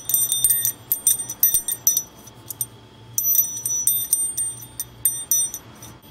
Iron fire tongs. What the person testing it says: これが叩く前の音ですけど、まあ、全くこの鉄の金属音いうような音ですね。